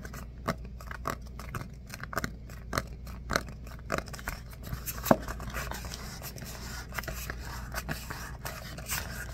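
A red hardcover book is held in both hands while fingertips tap and scratch its cover and edges. Sharp, dry taps come at a steady pace over a faint low hum, then give way to a softer, continuous scratching with only occasional light taps.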